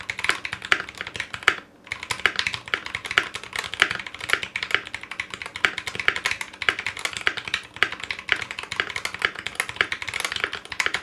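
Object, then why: Mechanical keyboard with foam lining and ABS plastic keycaps. A 60% Clueboard mechanical keyboard with Zealios V2 62g switches, in a metal case lined inside with foam, with GMK ABS plastic keycaps and a coiled cable, is typed on with the fingertips of both hands. Its crisp, bright key clacks come in a fast, steady stream with almost no low end, pausing briefly near the two-second mark. Each keystroke dies away almost instantly.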